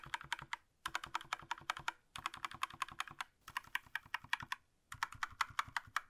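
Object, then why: Plastic mechanical keyboard. A single gloved hand taps the plastic keycaps of a small black Razer BlackWidow V3 65% mechanical gaming keyboard on a desk with its fingertips. Bright, sharp clacks come in five quick bursts separated by short pauses, each click dying away almost instantly.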